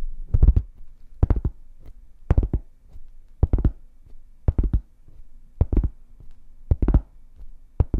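Long painted fingernails tap a large, solid, round flat cork board held upright beside the mic. About eight quick clusters of taps come roughly once a second, each a soft, deep, dull thud with almost no ring. A faint low hum sits between the bursts.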